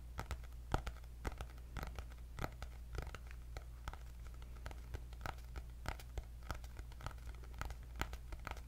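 Fingernails tap and scratch the cardboard cover of a cream hardcover paper notebook with gold polka dots, held up close. Quick, dry clicks and brief scratchy strokes come in an irregular stream over a steady low hum, each tap dying away almost instantly.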